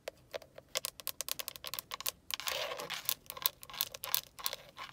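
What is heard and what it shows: Long acrylic nails tap and scratch the black grained plastic airbag cover at the center of a steering wheel, including its chrome KIA badge, with the cover hollow-backed. Quick, bright, dry clicks come in rapid runs, broken by a longer rasping scratch in the middle, each tap dying away almost instantly.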